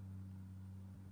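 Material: Nothing is struck.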